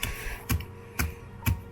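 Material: Ice.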